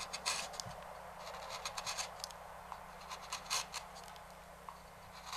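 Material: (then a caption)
Wood. A small hand knife scratches and carves along the rim of a large, hollow, empty walnut bowl held still on a stopped lathe, with fingers steadying the bowl. Quiet, bright, dry scraping strokes come in short bursts over a soft hiss, each stroke fading almost at once.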